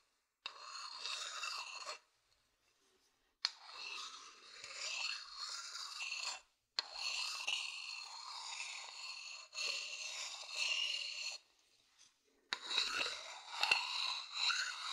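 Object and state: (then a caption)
Wooden bowl being scratched. A thin wooden stick scratches across the outer base of a medium hollow wooden bowl. The result is a series of bright, raspy scraping strokes with short silent pauses between them and almost no low end.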